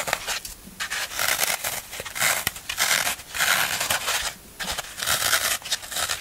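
Fingernails scratch and press along the smooth side of a solid green floral foam brick held in the hand. The result is dry, bright, crackly scraping in repeated bursts, separated by short quiet gaps, with almost no low end.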